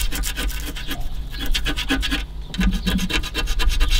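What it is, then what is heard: Crumbling foam seal strip on a car radiator. Fingers rub and scratch vigorously along a deteriorated, crumbling white foam seal strip on the edge of a car radiator. The result is a continuous series of rapid, dry rasping and crumbling scrapes with bright, high crackle over a low rumble.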